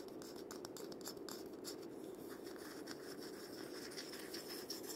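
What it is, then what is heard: Cabasa bead scrape. A wooden cabasa with loops of steel ball-chain is held upright by its handle and twisted against a palm and fingers. It makes a continuous ratcheting scrape of the beads, with a dense mid-range rasp around a few hundred hertz and bright, high flickers as the chain rolls. The rubbing sound stays steady for the whole clip without clear separate hits.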